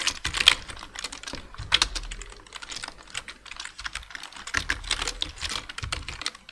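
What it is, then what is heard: Plastic computer keyboard. Two-handed fingertip typing on a black plastic full-size computer keyboard produces a rapid, uneven stream of bright, dry key taps. A few louder taps carry a short low thump beneath the clicks, and the typing continues steadily throughout.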